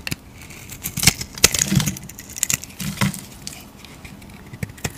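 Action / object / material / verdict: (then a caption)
scrape / bar of soap shaved with a metal blade / soap / none. A solid cream soap bar is shaved with a metal utility blade, giving a run of short, dry scraping clicks with bright, high-pitched crackle and a low thud under some strokes. The sharp ticks stand apart with a few quiet pauses between them, and nothing rings on after each one.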